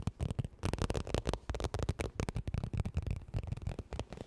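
Long nails rapidly tap and scratch a medium, soft-sided holographic textured vinyl zip makeup bag. The result is a fast, irregular stream of short, dull, low thuds mixed with crinkly scratching, with almost no ring after each hit.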